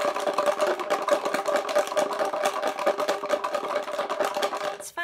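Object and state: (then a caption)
Shaker bottle filled with rubber erasers and plastic pen caps. A clear shaker bottle filled with rubber erasers and plastic pen caps is shaken steadily, giving a dull, muffled rattle that sounds almost like cardboard. The contents clatter in quick, uneven bursts for about five seconds before the shaking stops.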